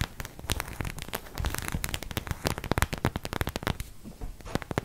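Long nails tap and scratch across the head and torso of a white plastic acupuncture figure. The result is a rapid, uneven run of dry, crackly clicks over a soft scratchy rustle, with each tap stopping dead and no ring.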